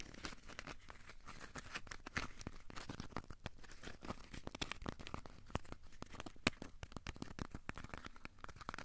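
A small, solid, crumpled ball of aluminium foil is scratched and rubbed with the fingertips. It makes a quiet, steady stream of dense crinkling and crackling, with short bright ticks and rustles throughout and a few slightly sharper snaps.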